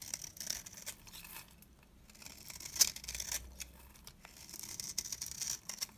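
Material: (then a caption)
Soap. A large, round, cream-colored bar of dry soap is held in one hand and shaved with a box-cutter blade, sending flakes and curls off the bar. The clip is a run of crisp, bright scraping and rasping strokes with quick crackly ticks, almost nothing in the low range. Each stroke stops short with no ring.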